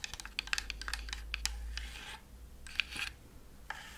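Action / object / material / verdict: scrape / thin plywood Christmas house decoration / plywood / none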